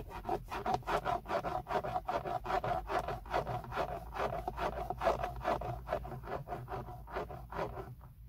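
Fingertips and short nails, one finger wearing a metal ring, scratch and tap the hard textured plastic of a hollow BMW steering wheel center airbag cover. A steady run of dry, rasping strokes comes about two to three per second, with a hollow midrange tone near 670 Hz and almost no ring after each stroke. The strokes grow quieter and sparser toward the end.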